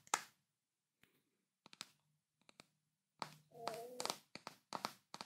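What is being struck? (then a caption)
Glass jar. Fingertips and nails tap the glass body and label area of a large, full glass Nutella jar held in both hands. Short, bright clicking taps come in scattered clusters separated by quiet gaps. Midway there is a longer scraping rub with a faint squeaky tone before the quick taps resume.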